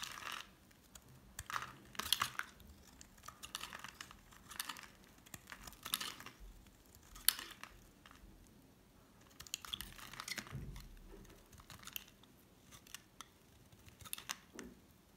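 A solid cream oval Dove bar soap held in the hand has its edge shaved with a metal utility knife blade. The result is a series of short, dry scraping and scratching strokes with a bright, crisp texture and almost no ring, separated by quiet pauses.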